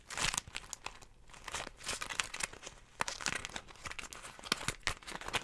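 A small folded beeswax-coated cotton food wrap with a flower print is held in the hands and crinkled and scratched with long nails. Dense, bright crackling and crinkling rise and fall in quick bursts with sharp scratchy transients and little low end, the wax-stiffened fabric giving a stiff, papery crunch.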